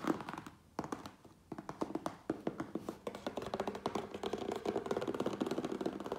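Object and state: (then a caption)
Cardboard shipping box tapped. A closed, medium-sized cardboard Priority Mail box, hollow with contents inside, is tapped quickly on its top with the fingertips and nails of both hands. Dry, short, hollow taps with a mid-low thunk around 320 Hz come in scattered bursts with brief pauses at first, then turn into a steady, rapid patter.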